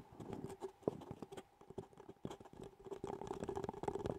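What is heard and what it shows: An empty, hollow disposable paper cup with a chocolate donut print is held in both hands while long fingernails tap and scratch its outer wall. Rapid, soft, clicky taps mix with light scratching, each tap giving a short hollow tone that dies away almost at once. The quiet, dense patter pauses briefly mid-clip before resuming.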